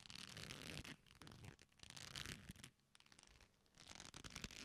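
A black leather belt, a flat solid strap folded into a loop, is squeezed and rubbed with both hands. It gives bursts of dry, bright creaking and scratchy friction in uneven waves, with a few quieter pauses between.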